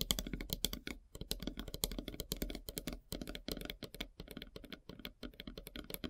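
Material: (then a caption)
Wood. Long nails rapidly tap and scratch across a large, solid, flat slice of light-colored wood with a bark edge. The dry, crisp clicks and scrapes fall in quick, uneven bursts with short pauses, each with a dull low thump beneath a bright ticking edge and almost no ring.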